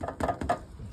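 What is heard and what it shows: Knuckles rap four times on an Oley's frozen pizza, making short, dull knocks with a slight hollow tone and almost no ring. The hard knocks show the pizza is solidly frozen.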